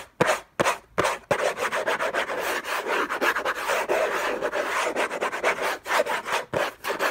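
Fingertips and short nails scratch rapidly across the lid of a closed, long rectangular orange Hermès cardboard box covered in textured paper, lying on a fluffy blanket. A few separate scrapes at the start give way to fast, dense, rasping strokes with a dry, papery midrange texture and a faint bright edge.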